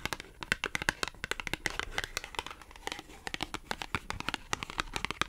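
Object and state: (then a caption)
Cardboard clothing tag. Long acrylic nails scratch and tap a small, thin, flat green matte cardboard clothing tag. The result is a rapid, uneven run of sharp, bright clicks over a dry, papery scratching rustle. Each tap stops almost instantly with no ring.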